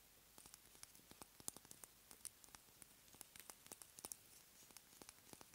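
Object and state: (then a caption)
Glass dropper bottle. A small, dark glass dropper bottle with a label and a black dropper cap, likely full, is held in both hands and tapped with long nails on the glass and the cap. The result is a quiet, uneven string of sharp, bright clicks and ticks with almost no ring, over a faint hiss.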